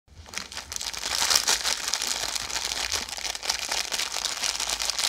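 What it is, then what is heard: Plastic-wrapped biscuit pack. A sealed Oreo Original roll in blue plastic film, full of biscuits, is held in both hands, tapped and scratched with long yellow acrylic nails, and squeezed so the wrapper crinkles. A dense, bright crinkling and scratching rises in the first second, then carries on steadily with quick light ticks and almost no low end.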